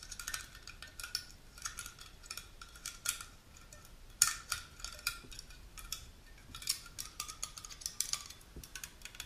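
Long natural nails tap and scratch the top and the printed cylindrical body of a small, unopened aluminum juice can held sideways. A quiet, irregular run of light, bright metallic clicks and ticks mixes with thin scratching rasps, each tap dying away almost at once.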